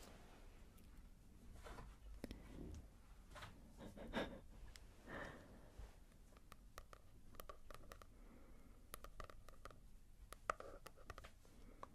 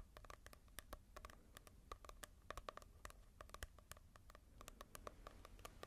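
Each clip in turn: First: matte-covered paperback book. Second: glossy-covered paperback book.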